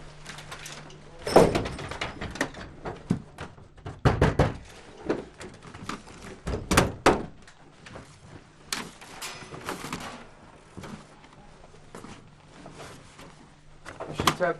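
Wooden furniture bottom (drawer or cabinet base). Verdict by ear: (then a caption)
Hollow. During a house search in Baqubah, soldiers knock on the bottoms of furniture, apparently drawers or a cabinet and likely wooden, to check whether they are hollow and could hide a weapons cache. A series of irregular, short, dull thunks and knocks rings out over a faint low steady hum. The bottoms sound hollow, suggesting a possible hidden compartment, though nothing is opened to confirm it.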